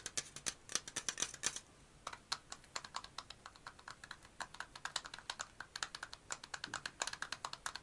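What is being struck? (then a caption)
Metal aerosol deodorant can. Fingernails tap rapidly on a black and purple metal aerosol deodorant can, first on its body and then on its top. Dozens of quick, dry, bright clicks patter unevenly with almost no ring or low end. There is a brief pause just before the two-second mark.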